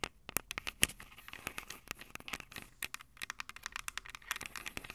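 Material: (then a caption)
Metal, plastic. Long acrylic nails tap and scratch the metal-grilled microphone capsules of a small, hollow Tascam DR-05 recorder with a plastic body. A quiet, rapid string of sharp, dry, bright clicks and ticks follows, with light scratchy texture between them. Each tap dies away almost instantly.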